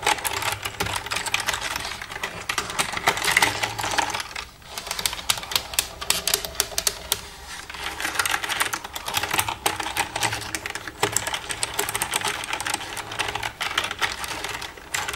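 Long red-painted nails tap and type with both hands across the keys of a black plastic desktop computer keyboard with a hollow casing. Dense, rapid, bright clicking clatters on for about fifteen seconds, easing briefly near 4.5 and 7.5 seconds before picking up again.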